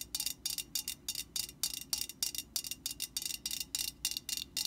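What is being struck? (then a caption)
Metal aerosol can. Long painted nails on both hands tap and scratch the printed side of a Static Guard aerosol can, a hollow metal can standing upright. Quick, irregular bursts of bright, crisp tapping and scratching sound, each dying away almost at once with no ringing.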